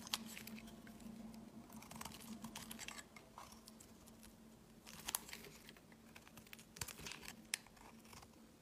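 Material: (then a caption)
Soap. A solid white bar of soap held in the hand is shaved with a utility knife blade, and thick flakes come off. Quiet, crisp, crinkly scraping strokes with bright, brief clicks run over a faint, steady low hum.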